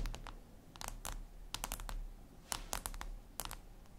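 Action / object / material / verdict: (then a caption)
tap / glass tablet screen tapped with long fingernails / glass / none. Long red acrylic nails tap and scratch a flat, glossy black glass surface, likely a tablet screen. Irregular bursts of short, sharp, bright clicks sound like quick typing over a faint low hum. Each tap dies away almost instantly.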